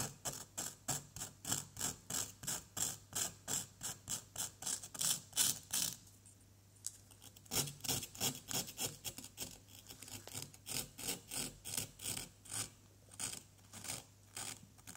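A wooden stick scrapes repeatedly across the top of a small, solid orange plaster excavation block held steady by one hand, loosening visible plaster dust. The bright, raspy strokes come in a steady back-and-forth rhythm of about three per second, pause briefly around the six-second mark, then resume until the end.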